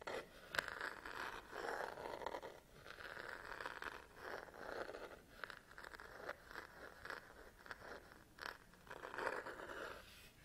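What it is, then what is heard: Plastic and rubber camera body. Long nails scratch and tap the textured rubber and plastic back of a black DSLR camera body held in one hand. Dry, raspy scraping bursts in the midrange alternate with sharp, brief clicks that die away instantly, with no low rumble.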